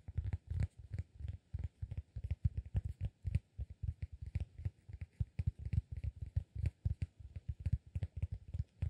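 A solid, round, flat cork disk about 15 cm across is held in one hand and tapped and scratched with fingertips and nails. Dozens of soft, dull, low thuds follow in a quick, uneven rhythm, each dying away almost at once. Faint scratchy texture sits between them.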